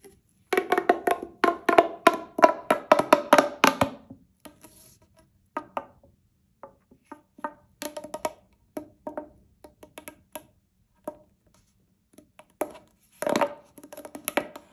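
A single hollow, light-blue corrugated plastic pop tube is bent and squeezed with both hands so its ridges pop, while other tubes lie still nearby. A rapid run of dry, woody-sounding clicks with a hollow midrange tone comes first, then slows to scattered single pops, and ends with a final dense burst. Each pop is short and sharp with almost no ring or low end.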